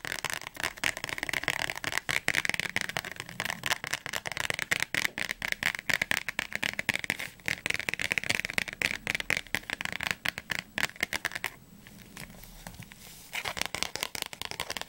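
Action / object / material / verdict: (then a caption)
tap / thick softcover book, paper with glossy card cover / paper / none. Long fingernails tap and scratch fast on the glossy blue cover and spine of a thick, closed softcover Oxford Advanced Learner's Dictionary held flat. The result is a dense stream of sharp, bright clicks with crackly scratching between them. Near the end comes a brief, quieter stretch of softer scratching before the quick tapping resumes.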